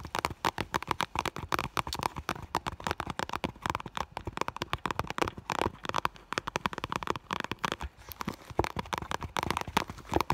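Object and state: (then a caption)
Clear vinyl bag, tapped with nails. Long nails rapidly tap and scratch the front of an iridescent clear vinyl (holographic PVC) school bag in close-up. A dense stream of short, dry clicks and crackly scrapes, with a mid-pitched plastic ring near 900 Hz and bright edges, runs without pause for about ten seconds.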